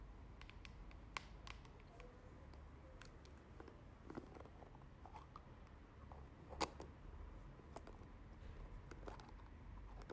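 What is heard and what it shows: A small, hollow teal plastic moisturizer jar with a white plastic lid is held in the hand and tapped with long nails on its lid and sides. Soft, sharp plastic clicks with a bright edge come in a steady, irregular stream, with a few louder taps standing out. A quiet low rumble sits underneath throughout.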